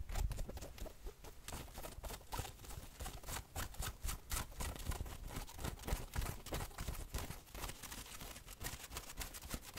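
Fingertips and nails scratch quickly across the printed chest and the sleeve of a worn fleece hoodie. The rapid, irregular strokes make a steady bright rasp over soft, low rubbing thumps.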